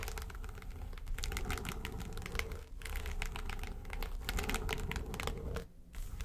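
Long nails rapidly tap and scratch the lid of a small, hollow, yellow textured faux-leather makeup suitcase. The result is a dense stream of sharp, bright clicks and scrapes over a steady low rumble, with brief dips near 2.7 and 5.8 seconds.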